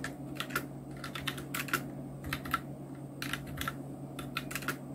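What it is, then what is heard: Plastic mechanical keyboard. Continuous two-handed fingertip typing on a full-size black Nubwo Illution NK-70 mechanical keyboard with Outemu red switches, round plastic keycaps and blue backlight. Quick, uneven runs of short, bright plastic clacks die away almost instantly over a faint steady low hum.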